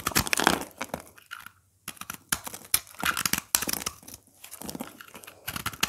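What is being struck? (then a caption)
Bar of soap. A craft blade cuts and scrapes powdery, crumbly chunks from the surface of a dry, solid green oval soap bar held in the hand. Bursts of dry, bright crunching and scraping come in irregular clusters with brief pauses between them.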